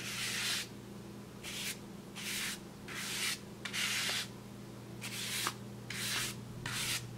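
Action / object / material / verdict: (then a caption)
scrape / large flat kraft paper bag brushed with a wide bristle brush / paper / none. A wide bristle paintbrush rubs and sweeps across a large, flat brown kraft paper bag in repeated strokes. Each stroke makes a bright, airy, hissing scrape, separated by short quiet gaps. A faint steady low hum runs underneath.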